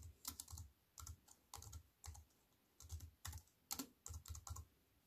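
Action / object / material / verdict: tap / aluminium-framed keyboard with plastic keys / plastic / none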